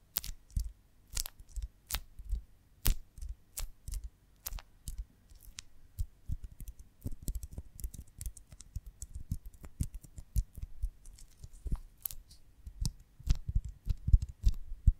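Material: Beeswax.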